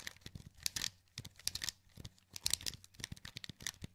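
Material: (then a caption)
Plastic. A wired black plastic PS2 controller with a hollow handheld shell is held in both hands while thumbs press and click its buttons and joysticks. It makes a quiet, irregular run of short, bright plastic clicks and light scratchy taps that stop instantly, over a faint low hum.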